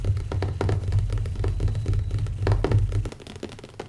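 Fingertips of one hand, then both hands, tap rapidly on the cover of a closed black leather hardcover notebook resting on a wooden table. The result is a quick, uneven stream of soft, dull thuds with a low body around 100 Hz that stops after about three seconds, leaving faint scattered taps.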